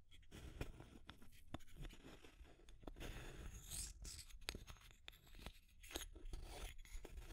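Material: Plastic.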